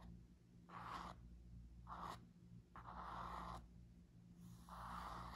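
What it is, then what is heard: Cardboard-covered spiral notebook. Nails and fingertips scratch and tap the laminated cardboard cover and paper page edges of a small spiral-bound notebook held in the hand. Four soft, scratchy bursts centered around 1 kHz rise and fade over a quiet, steady low hum.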